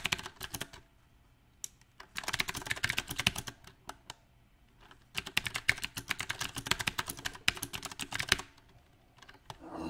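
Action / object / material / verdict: tap / mechanical keyboard with round plastic keycaps / plastic / none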